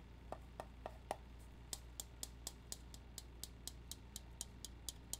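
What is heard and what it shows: A round, flat, hollow metal tobacco tin with a red printed lid, its contents not visible, is held in the hand and tapped on the lid and side with fingertips and nails. There are 19 short, dry taps at a steady pace: the first four are duller, hollow knocks around 700 Hz, and the remaining fifteen are brighter, sharper clicks with a metallic tick. Each tap dies away almost instantly over a low, constant hum.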